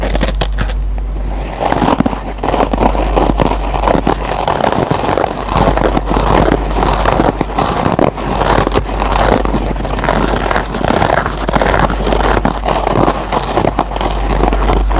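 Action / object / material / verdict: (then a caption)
scrape / foam kitchen sponge with nylon scouring layer / nylon, foam / none. Fingertips and short nails scratch and pick at the green nylon scouring layer on top of a dry, rectangular yellow foam sponge. The result is a steady, dense run of dry, crackling scrapes with a low, constant hum underneath and brief bright ticks throughout.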